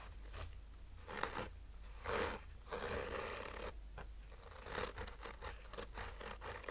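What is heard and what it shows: Short fingernails slowly scratch a black, oval, textured fabric-covered hard-shell sunglasses case with a hollow rigid shell. The result is a series of dry, raspy scratching strokes that swell and fade over a steady low rumble, with a few brighter scrapes standing out.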